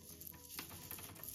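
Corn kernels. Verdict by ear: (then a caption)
Dry. Dried corn kernels, dried over the week before, are handled and give a crisp, rattling patter with two brighter clicks. The crispness shows all the moisture has been removed and the corn is dry enough to grind.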